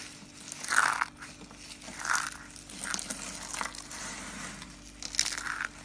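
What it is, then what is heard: Dry soap curls crushed. Small, hollow cream and brown dry soap curls and flakes are crushed and rubbed between both palms. Dry, bright crunching and crackling comes in bursts, with louder crunches near the start, the middle and the end, and a softer rustle between them. There is almost no low end.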